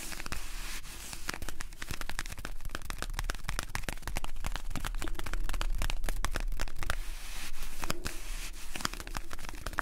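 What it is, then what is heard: Cardboard medicine box tapped and scratched. A small, hollow, blue printed cardboard medicine box is held in both hands while fingertips and nails scratch and tap its flaps and side panels. A dense stream of quick, dry crinkling scratches and sharp little taps plays over a steady low rumble, with each click dying away almost instantly.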